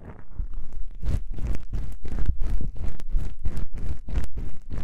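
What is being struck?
Foam microphone windscreen.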